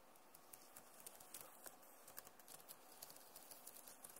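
Long nails slowly tap the plastic keys of a backlit Acer laptop keyboard, making about 16 light, sharp clicks with bright ticking tops over a soft, hissy background. Each tap is quiet and dies away almost at once.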